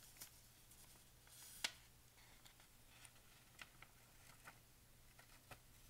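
A hand with painted nails sweeps over the pages of a thin paper pharmacy advertising flyer and turns them. Soft, airy paper brushing runs throughout, broken by light crisp ticks and one sharper, bright rustle as a page flips near the start. Everything stays quiet and close, over a faint steady low hum.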